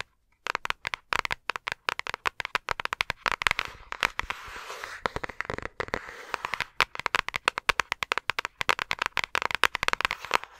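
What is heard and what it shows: A flat, thin, empty-looking yellow paper envelope or card, held upright in front of a microphone, is tapped and scratched with long acrylic nails. Dense, rapid, crisp clicks and papery crackles run throughout, bright with little low end, and a softer stretch of continuous scratching comes in the middle.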